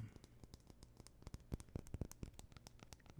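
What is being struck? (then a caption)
Aluminum smartphone body. A small, thin, solid white and gold aluminum iPhone is held in the hand and scratched and tapped with fingernails. It makes a rapid, irregular series of quiet, dry clicks and scrapes with a low thud and brief bright ticks that stop at once, over a soft background hum.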